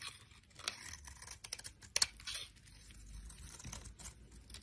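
A solid oval bar of green soap held in the hand is shaved with a utility knife blade, sending strips and crumbs of soap off the bar. The sound is a run of dry, bright scraping and crackling cuts with short crisp snaps, the sharpest near the middle of the clip.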